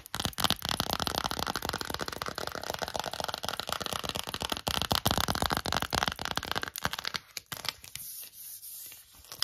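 Long acrylic nails and fingertips scratch and squeeze an empty, small, hollow green silicone phone case. The result is a dense, bright, crackly rasp of rapid scratches, about four per second, that sounds almost like tearing. In the last two seconds it thins to sparse clicks over a faint steady hiss.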